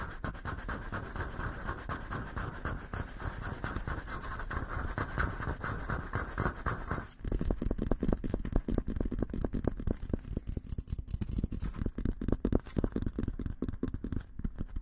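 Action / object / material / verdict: scrape / steel military helmet / steel / none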